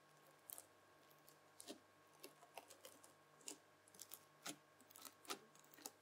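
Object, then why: Lump of bubbly slime worked with a plastic fork. A lump of red bubbly slime is pressed and dragged with a white plastic fork, giving quiet, irregular bursts of bright crackling and squelchy pops. The snaps are sharp and short, scattered over a faint steady hum and soft hiss.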